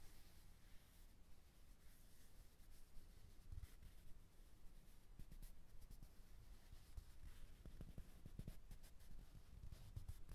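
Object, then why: Stuffed plush fabric teddy bear muzzle and felt nose. Fingertips and short nails rub and scratch across the soft fabric muzzle and black felt nose of a white stuffed teddy bear, a soft filled toy. The result is a quiet, close, low-pitched rustle of muffled fabric rubbing and light scratching, with occasional soft dull bumps and faint brief crackles toward the end.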